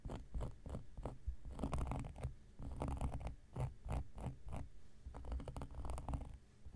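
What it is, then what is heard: Cork coaster. An X-Acto knife blade scratches a large, round, flat coaster of solid cork lying on a surface. The clip is a series of short, dry scratching strokes in quick bursts, with a dull low rumble underneath most of the sound.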